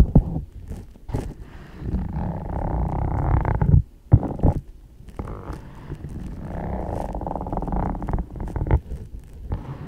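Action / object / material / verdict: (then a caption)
tap / leather ankle boot / leather / none. A single black leather ankle boot, hollow and empty, is held upright while long dark acrylic nails tap and scratch its leather upper. Close, muffled scratching builds in sustained low rumbling passages, broken by sharp tapping hits and brief quiet gaps.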